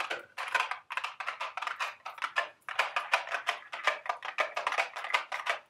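A small, hollow, printed cardboard candy box shaped like a milk carton is held in the hands and tapped rapidly with long, sharp acrylic nails. It makes a steady stream of quick, dry, clicking taps centered in the mids with a bright edge and almost no low end. Each tap dies away almost immediately.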